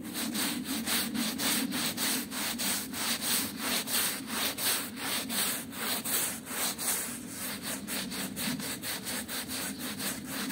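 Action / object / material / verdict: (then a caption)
scrape / woven textile rug scrubbed with a hand brush / textile / none. A yellow-gloved hand scrubs a small, wet, patterned woven rug with a small hand brush, working along its fringe as well. Steady, rapid back-and-forth bristle strokes produce a bright, wet rasping hiss with a soft low hum underneath. The scrubbing rhythm continues evenly throughout.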